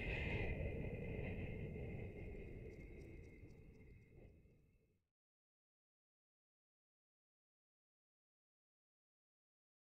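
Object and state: Nothing is struck.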